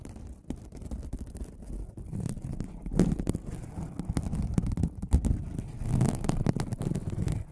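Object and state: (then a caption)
Aluminum mesh scrubbing pad. A silver aluminum mesh scrubbing sponge is held beside the microphone and scratched with fingertips and nails. The result is a steady run of crisp, crinkly scraping and crackling, with a heavy low rumble underneath and quick bright ticks throughout.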